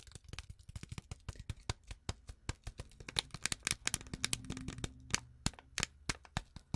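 Long acrylic nails tap and scratch quickly on a small, flat, sealed Twinings tea packet, a foil-lined paper sachet still full with its tea bag. About thirty sharp, dry clicks come in a rapid, uneven stream, with bright crinkly highs and a faint low scratching rustle between them. Each tap dies away almost instantly, with no ring.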